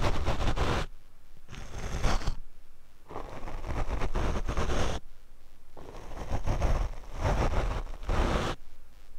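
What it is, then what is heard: Foam microphone windscreen being brushed. A paint brush is swept across the black foam windscreen on a Rode microphone. Bursts of soft, low, rumbling brushing and rustling alternate with quieter pauses, the strokes heavy in bass and muffled with little brightness.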